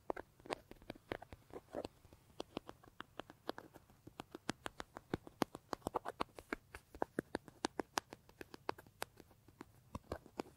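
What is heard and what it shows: Fingertips and nails rapidly scratch, tap and rub the face of a large, hollow brown leather bag. The result is a quiet, steady run of dry, short clicks and soft scratchy taps with almost no ring, centered in the low mids with brief bright edges.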